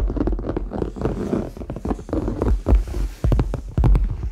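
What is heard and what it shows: Fingernails tap and scratch across the surface of a medium red, structured, hollow faux leather handbag with metal hardware. Quick, uneven taps land over a dull, low rustling scrape, with short resonant thumps from the hollow body and no lasting ring.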